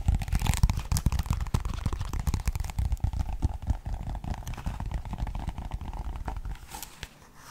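A medium paperback Pokémon guide book with a glossy card cover and paper pages has its pages riffled and flipped with fingertips while the cover is handled. Dense, irregular papery rustles and soft crinkling flutters come in quick succession, with a heavy low thump underneath. The sound tapers off and grows quieter near the end.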